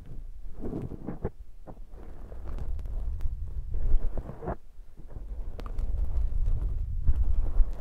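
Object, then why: Foam microphone windshield. Fingertips with short nails squeeze and rub a soft, hollow black foam microphone windshield. The result is a deep, muffled rumbling and squishing with irregular soft crackles and brief bright rustles that swell and fade throughout.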